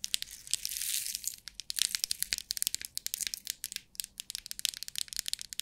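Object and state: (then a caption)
Plastic compartment box of rhinestones. Long nails tap and scratch the lid of a long clear plastic compartment box holding rhinestones, and the box is shaken. A bright, rattling swell of shifting rhinestones gives way to a quick run of sharp, crisp clicks and scrapes. The sound is almost entirely high and dry, with no low end and no ring.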